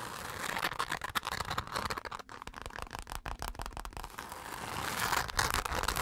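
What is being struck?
Glitter-coated fabric zipper pouch.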